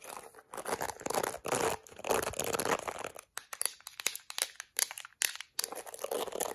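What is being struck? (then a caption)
Plastic detangling hairbrush. A small plastic detangling hairbrush is cupped in a hand while long acrylic nails scratch across its bristles and tap its yellow plastic back. The first half is dense, crackly bristle scratching in bright bursts, followed by a run of sharp, dry clicking taps before the scratching returns at the end.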